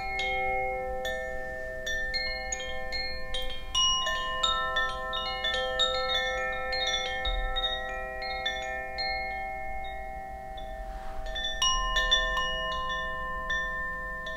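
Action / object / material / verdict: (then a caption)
strike / bamboo tube wind chime with wooden clapper / bamboo / none. A bamboo Koshi wind chime, a hollow bamboo tube chime with a wooden clapper, is held aloft by its cord and swung by hand. Its clapper strikes the tubes at an uneven pace, producing overlapping, bright, bell-like tones around 3.5 kHz with sustained lower partials. Each tone rings for about two seconds, blending into a shimmering wash over a faint low rumble.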